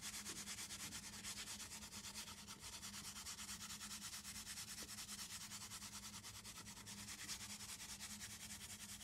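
Fingertips and long nails rub and scratch the flat face of a small, closed, hollow brown cardboard box. A steady, bright, scratchy rasp runs through the whole clip in quick back-and-forth strokes, with a faint low hum underneath.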